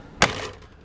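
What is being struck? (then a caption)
Extruded aluminum door frame. A single knock on the thick extruded aluminum frame of the entry door of a 2017 Airstream Flying Cloud 20C Bambi travel trailer, TIG welded in the corners. It makes one sharp, bright tap with a low body and a very short ring that quickly fades into faint background noise. The thick frame sounds solid.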